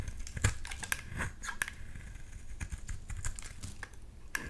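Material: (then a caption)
Soap. A blade scrapes thin shavings off the surface of a solid dark green bar of soap. The result is a quick run of short, dry, crisp scrapes and clicks with a soft low body and bright edges, each dying away almost instantly.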